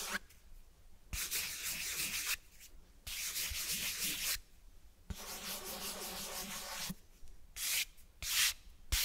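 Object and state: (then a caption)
Cloth-bound hardcover book. Fingers rub and scratch the cloth cover and spine of a closed cloth-bound hardcover book close to the microphone. It makes five separate bursts of bright, dry, hissing friction, with quiet gaps between them.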